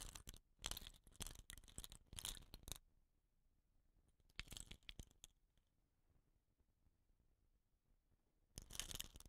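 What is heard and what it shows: A fingertip scratches the tube of a hollow, painted bamboo rain stick with a rattan end cap, then a hand grips and tilts it. Dense, bright, scratchy rattling bursts fill the first few seconds, followed by a near-silent pause. Shorter rustling bursts return around the middle and again at the end.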